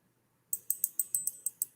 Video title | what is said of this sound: Revenge of the 5th Livestream! | Can you hear it? It's not plastic. Yeah. It's not plastic. It is metal.